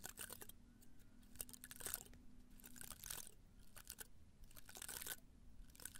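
Fingertips and nails rub and scratch the spines of a small potted cactus, held in both hands in a red-brown pot, on the side facing the microphone. Quiet bursts of bright, dry crackling and scratching come and go over a steady low hum.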